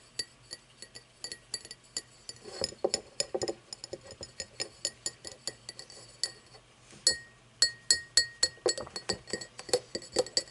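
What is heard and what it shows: Fingernails tap and scratch the cut ridges of an empty cut-crystal glass tumbler lying on its side on wood. A long series of quick, bright clinks rings out, each with a high, glassy ping that dies away almost at once. Between the taps come short scratchy rasps, thickest near the start.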